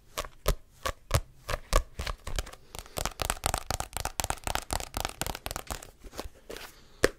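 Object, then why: Paperback book with glossy card cover. Fingertips scratch and tap the glossy card cover and spine of a *Diary of a Wimpy Kid* paperback, a solid paper book. Quick, dry taps and scratchy strokes follow one another: spaced at first, then coming in a denser run. Each stops almost instantly, with a low thump under a papery, bright rasp.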